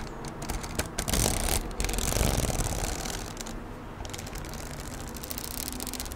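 A red A4 Oxford spiral notebook with a glossy plastic cover, held in one hand, is tapped and scratched with long nails on the cover and near the spiral. Quick, uneven clicky taps blend with crisp, bright scratching that swells louder between about 1 and 2.5 seconds, over a steady low background hum.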